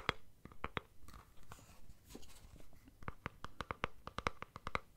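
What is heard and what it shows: Fingernails tap and scratch the plastic body of a capped deodorant stick container. Sharp, dry clicks with a faint ringing tone near 1.2 kHz open the clip, then a softer stretch of scratching and rustling follows. A quick, uneven run of crisp taps closes it.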